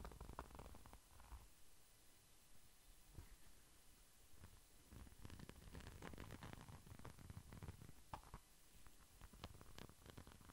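A small, flat red pouch with a glitter-coated surface is held close to the microphone and scratched with fingertips and nails. The result is a quiet, low, rumbling rustle broken by many brief, crisp scratches that grow denser and sharper in the second half.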